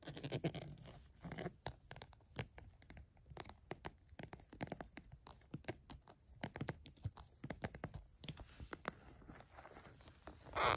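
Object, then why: Vinyl zippered pouch. Long nails tap and scratch the surface of a small pink polka-dot glossy vinyl zippered cosmetic pouch, which is hollow and soft. Dozens of quick, dry clicks and scratchy rasps follow one another. The pouch is then picked up and handled, ending in a louder rustle.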